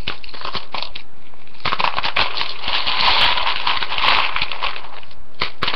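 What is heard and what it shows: A hand with long painted nails scrunches, digs and stirs through a ceramic bowl full of dry, uncooked rotini pasta. The result is dense, continuous crackling and crunching, with a few sharper clicks standing out. It grows busiest and brightest in the middle of the clip.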